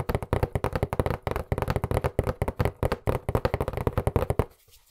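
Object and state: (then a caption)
Cardboard box. Fingertips and nails tap quickly and hard on a hollow white cardboard box with black lettering, held in both hands. The result is a dense run of short, dull, low thuds with a papery knock and no ring, stopping just before the end.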